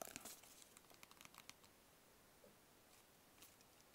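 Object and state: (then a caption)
Cardboard box tapped and scratched. A small, hollow, black rigid cardboard gift box is held in both hands and tapped and scratched with fingertips and nails. A quick run of light, dry, bright taps comes in the first second and a half, then softer scratching follows, with one faint tap near the end. It stays quiet throughout.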